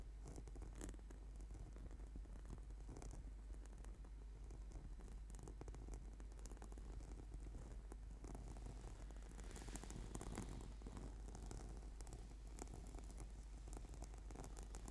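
Fingertips tap and fingernails scratch across a flat, purple, sticky PVC foam yoga mat. The result is a quiet, continuous texture of dense scratchy, zipper-like rasps and soft pattering taps, with bright grainy bursts over a steady low hum.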